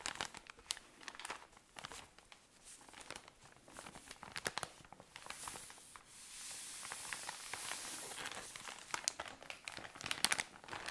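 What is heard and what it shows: Long nails squeeze and scratch a tall cylinder of cotton pads in thin plastic wrapping, making bright, sharp crinkles and crackles. Midway, the crinkling blends into a steadier, hissing rustle before sharp crackles return toward the end.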